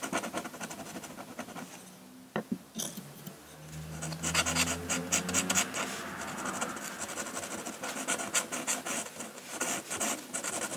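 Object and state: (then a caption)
Drawing paper under a pen nib. A metal dip-pen nib scratches hatching lines across a flat sheet of drawing paper while the hand rests on the sheet. Quick, irregular, bright scratchy strokes repeat throughout, with a brief pause near the two-second mark and a faint low hum underneath in the middle.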